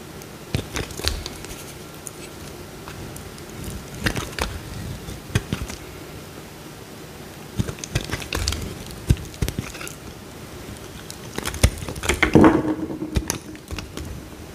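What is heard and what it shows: A small, solid pink bar of soap held in the hand is carved with a metal utility knife blade, and curls of soap peel off. Soft, crackly scraping and gritty shaving sounds come in short bursts with quiet pauses between them, and grow louder and denser near the end.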